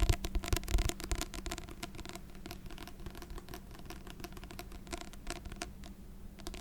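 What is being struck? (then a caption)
Paper book. A paper book of Beethoven piano sonatas is tapped in a quick, irregular patter. The taps are soft, dull and low, with short thuds that fade at once. A few louder taps come near the start before the tapping settles into a steady, quieter flutter.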